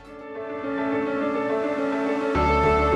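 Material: Nothing is struck.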